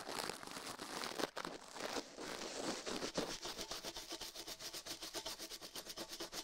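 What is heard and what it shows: Toothbrush bristles scrub fast across a silicone ear microphone on a metal mount, while a gloved hand rests still. A close, bright, scratchy brushing hiss starts as a dense rub, then settles into rapid, evenly spaced back-and-forth strokes.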